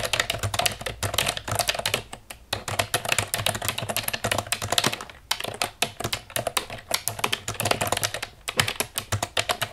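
Fast tapping with long nails on the keys of a hollow black plastic computer keyboard gives a dense run of sharp, bright clicks with short, clacky decay. The tapping stops briefly a few times before picking up again.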